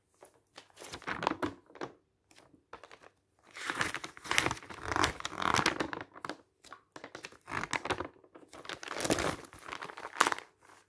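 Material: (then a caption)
Coated paper. Fingertips lift and flip the thin coated pages of a glossy paper travel brochure lying open flat on a table. Bright, papery crinkles come in bursts with brief quiet gaps between them.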